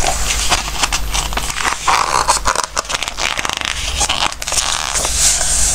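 Fingertips slide and rub over the coated pages of an open glossy-paper Christmas recipe book between page turns. The result is a steady, bright, papery scraping and soft crackling, with brief louder swishes as pages move, over a faint low hum.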